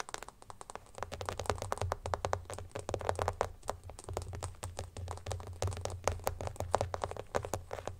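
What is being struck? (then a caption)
Clear plastic phone case. Fingertips and nails tap and scratch the back of an empty, hollow, transparent plastic phone case with teal glitter lying on a blanket. The result is a rapid, continuous stream of short, dry plastic clicks centered in the midrange, with almost no ring and a steady low hum underneath.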